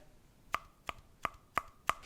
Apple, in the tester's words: has a nice hollow sound